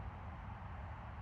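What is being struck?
Nothing is struck.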